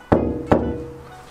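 Two knocks on a bare, untreated steel roof panel of a cheap kei van, a spot with no sound-deadening material applied. Each knock rings out with a resonant, tonal hum around 240 Hz that lingers after the hit, showing the thin sheet steel resonates.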